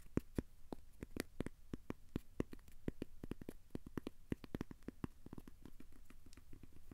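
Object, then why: Thin cork coaster. Fingertips tap and scratch the surface and edges of a thin, solid, square cork coaster held in both hands. A quiet, steady run of dozens of short, dry, muffled taps with almost no ring, mostly low in tone with brief bright clicks at each contact.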